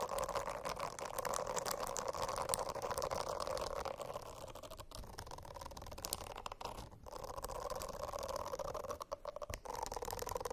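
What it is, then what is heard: Silicone bristle notebook cover. Long acrylic nails scratch at the edges of the dense small bristles on a rainbow-striped silicone notebook cover. The sound is a steady, busy rasping with a strong mid-range hum and bright crackly flicks. It thins briefly a few times before resuming.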